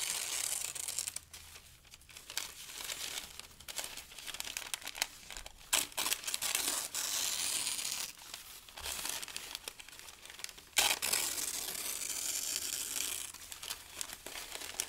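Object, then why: Thin paper sheets. Thin pale-green paper strips are lifted, crumpled and torn by both hands, making dense, bright crinkling and crackling. The rustle comes in bursts separated by quieter gaps, with a few sharper tearing snaps along the way.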